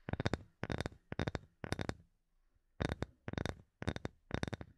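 A small, solid, light wooden block held close above the microphone is tapped with fingernails. It gives eight quick bursts of rapid, dry clicking taps that stop almost instantly, with a short quiet pause near the middle.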